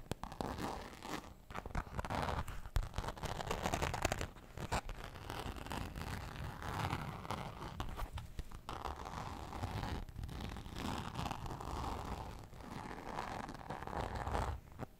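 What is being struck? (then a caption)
Glitter fabric zip pouch. A woman holds a soft, hollow, pink sparkly glitter-fabric zip pouch and scratches and rubs it with long painted nails. This produces a steady, dense run of scratchy, rustling friction with a heavy low-end thump. Brief brighter scrapes come and go throughout.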